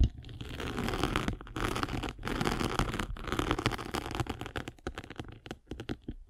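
A spiked derma roller, held in a hand with long red nails, is rolled across a foam sanding sponge with a gritty gray face and blue foam. The result is a dense, gritty scratching and crunching with a heavy low rumble, heard in long continuous passes that break into shorter, choppier strokes toward the end.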